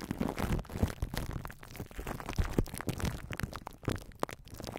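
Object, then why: Plastic cling film stretched over a metal mesh microphone grille. Long nails and fingertips rub and scratch plastic cling wrap stretched over a hollow metal mesh microphone grille, crinkling the film against the head. A continuous run of dense, crackly scratches and crinkles comes through with a heavy, boomy low end and quick uneven bursts throughout.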